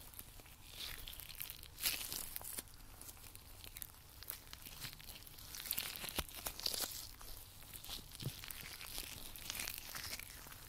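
White nitrile rubber gloves are worn on both hands while one gloved hand strokes and pulls at the other glove's surface and fingers. A steady run of bright, rubbery stretching and rubbing sounds follows, with sharp crinkly snaps and brief squeaks over a quiet low hum.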